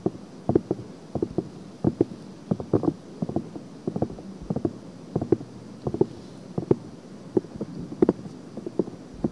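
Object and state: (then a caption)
Silicone binaural microphone ear being scratched. Long painted nails continuously scratch and rub both silicone ears of a binaural microphone. The result is a steady stream of short, dry scraping bursts over a low rustling bed, sitting mostly in the low-mids with little high end.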